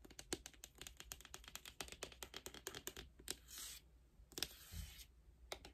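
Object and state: Cardboard album box tapped and scratched with nails.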